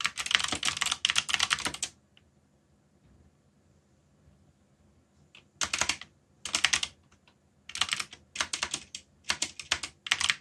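Fingertips, one finger bandaged, type on a full-size black mechanical keyboard with a yellow backlight and plastic keycaps printed in Korean and English. Bright, crisp key clacks come in fast bursts, stop for a pause of a few seconds, then resume in several more short runs. Each click is sharp and dies away almost instantly, with very little low end.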